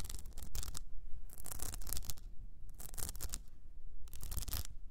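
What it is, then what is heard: Rhinestone-covered cylinder scratched. Long nails scratch and grip the blue rhinestone mesh wrapped around an upright cylinder, making repeated bursts of bright, dry, gritty rasping. The bursts are separated by brief quieter pauses, over a steady low rumble.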